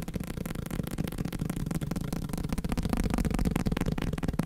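A block of paper is tapped fast, producing a dense stream of quick, dull, low thuds with almost no high content. The tapping runs continuously and grows slightly louder in the second half.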